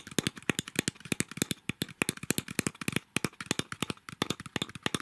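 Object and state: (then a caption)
Plastic milk drink bottle tapped and scratched. Long nails tap and scratch a small plastic milk drink bottle with a blue cap and a plastic label that looks full. The result is a rapid run of dozens of short, dry clicks and scrapes with no ring. Each sharp tick carries a bright, crisp edge over a light hollow knock.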